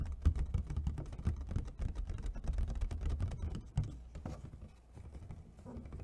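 Long fingernails of both hands tap rapidly on the patterned lid of an empty, hollow clear plastic clamshell food container. The taps come as quick, irregular, dry clicks with a dull, hollow low body and almost no ring. They soften and thin out briefly near the end, then pick up again.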